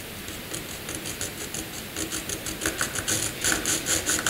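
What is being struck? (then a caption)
Pencil on white drawing paper. A pencil makes dense cross-hatching scratch strokes on a flat sheet of white drawing paper. Short, bright, papery scratches repeat in a quick, uneven rhythm over a faint hiss, growing louder and sharper toward the end.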